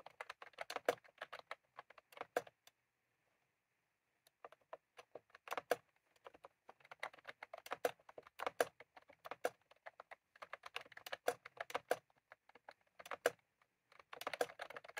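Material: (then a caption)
Plastic. Fingertips of both hands type continuously on a full-size plastic computer keyboard with round cream typewriter-style keycaps, resting on a desk. Quick, light, dry clicks come in bursts of varied pace, with a pause of about a second and a half near the start before the typing resumes.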